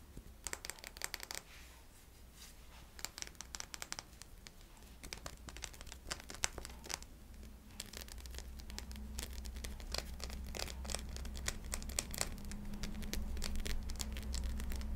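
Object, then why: Faceted glass crystal ornament. Long nails tap and scratch the faceted surface of a small, clear, solid glass crystal ornament held in the hand. Irregular clusters of sharp, bright clicks and scratchy, crinkly rasps come at a quick pace, with short gaps between bursts. A steady low hum runs underneath the whole time and grows slightly louder toward the end.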